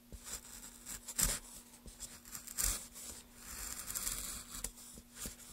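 A wooden-handled gouge is drawn along the grooves of a solid pale wood block held in gloved hands, carving it. Quiet, irregular scraping strokes come through with bright, hissy high tones and little low end, a few of them sharper and louder, with short gaps between strokes.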